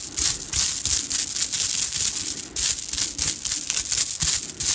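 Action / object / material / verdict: shake / strands of small plastic beads / plastic / none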